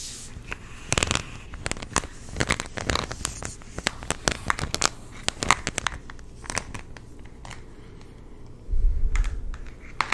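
A hollow purple plastic supplement jar with a paper label is handled, tapped and rubbed with the fingertips. The result is a string of sharp, bright clicks and taps mixed with crinkly scratching and rubbing. A short, louder low-pitched rumble comes in near the end.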